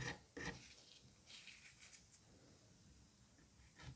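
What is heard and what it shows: A palm-sized solid dome of green kinetic sand in a white dish is scraped by the thin pointed tip of a pink-handled curette or scalpel drawn through its surface. Two sharp gritty scrapes open the clip. They give way to softer, bright rasping strokes and quiet crumbling, then a final louder scrape.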